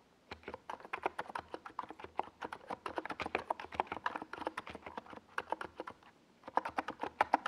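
Fingertips type continuously on a small NiZ Plum Atom 68 68-key mechanical keyboard with a white plastic case and purple and yellow plastic Domikey Gas Attack SA keycaps, resting on a desk pad. A quick stream of short, crisp plastic clacks centred in the mids carries a bright edge and a faint low thump. There is a brief pause near the six-second mark before the typing resumes.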